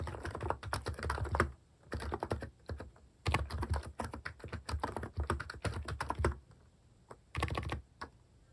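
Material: Plastic.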